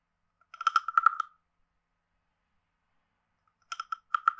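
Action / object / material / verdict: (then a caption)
scrape / carved hollow wooden frog guiro / wood / none. A wooden stick taps and scrapes the ridged back of a hand-sized, carved, hollow wooden frog guiro. Two short bursts of quick, dry clicks are separated by about two seconds of silence. Each click has a hollow, woody tone around 1.3 kHz and dies away almost instantly.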